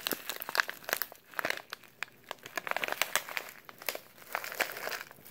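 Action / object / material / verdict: scrape / kraft paper oatmeal pouch / paper / none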